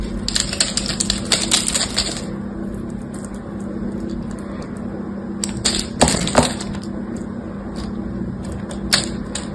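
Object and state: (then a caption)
Bar of soap being carved. A knife blade carves brittle flakes off a solid green bar of soap with a gold coating, held in the hand. Quick, crisp scraping clicks with a bright, crackly top come in clusters over a steady low hum, thickest in the first two seconds and again around six seconds.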